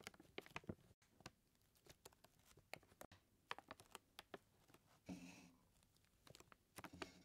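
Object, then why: Paper flour bag. Fingertips and nails tap and scratch the paper sides of a full white paper flour bag, making quick, dry, papery taps with short, bright clicks. Around the five-second mark comes a longer rustling scratch, and the clip ends with more tapping.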